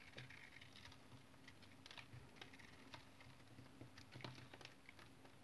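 A utility knife blade shaves flakes from a solid brown rectangular soap bar with a scored surface. Quiet, irregular crisp scrapes and light ticking cuts follow one another quickly, each dying away almost at once. A soft low rumble sits underneath throughout.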